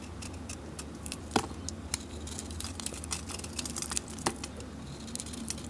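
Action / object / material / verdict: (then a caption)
scrape / bar of soap shaved with a metal blade / soap / none. A metal blade shaves and scrapes curls off a solid rectangular bar of soap held in the hand; the soap has a glittery green, Gemini-decorated surface. Quick, dry scraping clicks and crisp high flicks repeat over a low, steady hum, with a few sharper snaps standing out.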